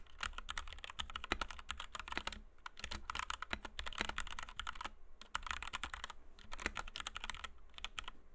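Fingertips of both hands type rapidly on a compact white 60% Kemove DK61 mechanical keyboard with Gateron Red switches, PBT doubleshot keycaps and a plastic case, resting on a desk mat. Dense bursts of short, bright, clacky keystrokes come in quick runs, broken by brief pauses, over a steady low hum.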